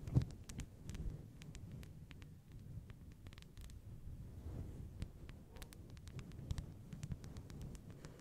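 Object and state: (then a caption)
Faux fur microphone windscreen being scratched. Long blue nails on both hands rapidly scratch and pinch a fist-sized, fluffy synthetic fur microphone windscreen. The result is a dense, muffled low rumble of rubbing and thumping, scattered with faint, sharp, bright clicks.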